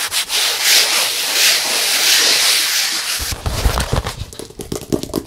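Fingertips rub and scratch across the painted surface of a medium vertical, hollow stretched canvas painted in acrylic with a colorful pop-art face. For about three seconds there is a steady, bright, hissing rub. It then breaks into quicker, uneven scratches and taps with dull low thumps from the hollow canvas.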